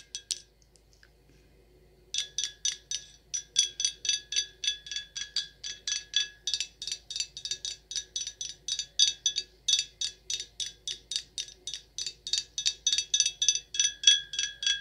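Long acrylic nails tap a dark glass red wine bottle with a paper label, which appears full and sealed. A couple of quick taps are followed by a pause of about two seconds, then a steady run of bright, high-pitched glassy clinks, about 55 taps in all. Each tap rings only briefly.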